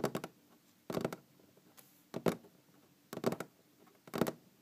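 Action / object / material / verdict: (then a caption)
tap / large wooden tabletop / wood / none. Long green-painted fingernails tap on a large solid wooden tabletop in quick clusters of two or three strikes, about once per second. Each tap is a short, dry knock with a low-mid body around 240 Hz and a brief bright click, dying away almost at once.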